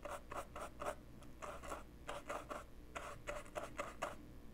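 A paintbrush's bristles and ferrule are rubbed back and forth across the scratched surface of a small handheld dark plastic portable cassette player with a hollow body. The result is a quiet series of brisk, dry scratching strokes with a hollow plastic tone and a bright, papery edge, separated by brief pauses over a faint low hum.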